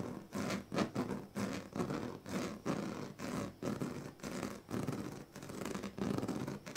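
The tail of a pink plastic comb scratches back and forth across the strips of a large, flat woven plastic sleeping mat. The result is a steady series of short, raspy strokes with a ribbed, zipper-like texture, mostly low to mid in tone with little brightness, each stroke stopping dry with no ring.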